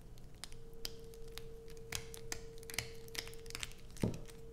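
Long pointed nails scratch and scrape across a solid blue bar of soap held in the hands. The result is a series of short, sharp, bright scratching clicks over a steady low hum, ending with a louder, deeper thud.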